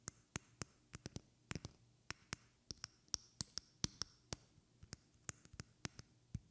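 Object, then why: Small glass perfume bottle tapped with fingernails. Long red-painted fingernails tap a small glass perfume bottle with a white cap and liquid inside, held in one hand. About 23 sharp, bright clicks come at an uneven pace, some soft and some harder, and a few carry a brief high glassy ping. The taps are quiet and die away almost instantly.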